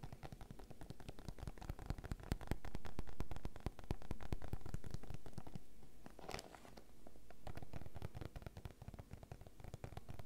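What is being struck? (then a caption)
PVC zip pouch filled with sachets. Painted nails tap rapidly on a small, clear, fruit-print PVC zip pouch filled with mask sachets as it lies on a table, making dense, dry clicks. The pouch is then picked up and squeezed, adding soft, low crinkling and rustling between bursts of tapping.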